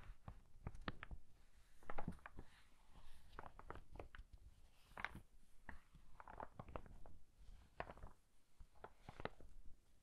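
Fingers turn and brush the yellowed pages of an old hardcover book. Quiet, dry paper rustles and short crisp crinkles come in quick, uneven bursts over a soft low background.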